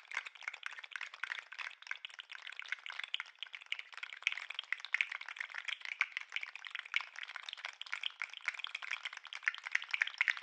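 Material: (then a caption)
Plastic. A green and white articulated plastic lobster toy is held up by the claws and shaken and wiggled by hand, so its segments clack against each other. The result is a steady stream of rapid, dry plastic clicks and rattles lasting the whole clip, bright and thin with no low end.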